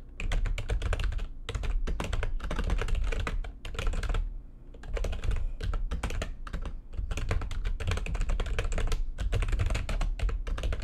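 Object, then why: Plastic computer keyboard. Long nails type rapidly on a backlit plastic computer keyboard, producing dense bursts of sharp, clicky keystrokes over a heavy low thump. The typing runs in quick flurries with brief pauses, and each click dies away almost instantly.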